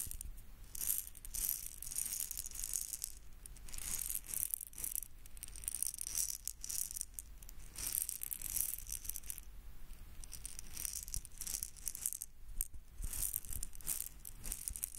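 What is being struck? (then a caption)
Plastic egg shaker filled with beads. A small red hollow plastic egg shaker filled with beads is held in the fingertips and shaken. Its beads give off bright, hissing rattles in repeated bursts of a second or two, separated by short pauses, over a faint low rumble.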